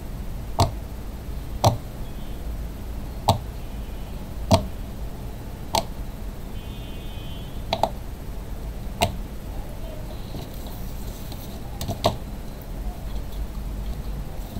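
A flat, hand-sized, strawberry-shaped rainbow silicone pop-it fidget toy with hollow bubble domes lies on a white table. Fingertips press and pop the bubbles, giving short, soft clicks spaced apart over a low background hum. The toy is then flipped over by hand.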